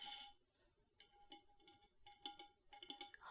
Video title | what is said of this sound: ASMR - ASMR Customer Service Roleplay (Soft Spoken, Typing, Tapping) | higher pitched tones such as this Yeti water bottle that I am tapping on